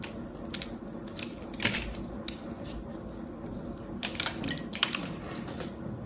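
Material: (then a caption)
Soap. A small, solid rectangular soap bar with a gold-painted embossed surface is held in one hand and shaved and scraped with the blade of an orange utility knife, and the flakes fall onto a blue cloth. Quiet, crisp, bright scratching strokes come in short bursts, with louder scrapes near the middle and toward the end.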